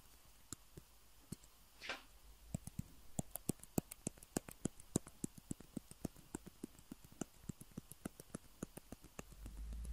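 Fingernails tap on two small hollow white plastic table tennis balls with printed logos, one held in each hand. A quick, uneven series of sharp, dry clicks with bright, crisp tops runs over a soft background hiss, with a brief swishing sweep near the start. A low rumble swells toward the end.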